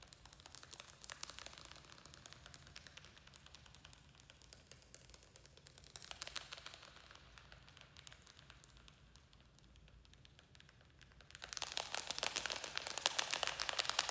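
Fingernails tap and scratch on a small square black plastic nursery pot, held up in the hand and filled with soil and a trailing succulent. The result is a quiet, bright stream of rapid, crackly ticks with brief swells around the first and sixth seconds. From about 11.5 seconds to the end, it turns into louder, denser scratching.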